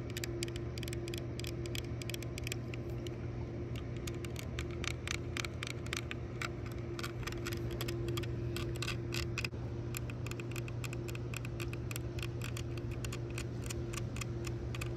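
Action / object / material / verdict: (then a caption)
tap / plastic sunglasses frame with metal hinges / plastic / none. Long nails tap and scratch a pair of tortoiseshell plastic-framed sunglasses with tinted lenses and gold metal hinge details, lying on a purple towel, working over the frame, lenses and hinges. Quick, dry clicks and brief scratches come in dense bright bursts that die away almost instantly. A steady low hum runs underneath throughout.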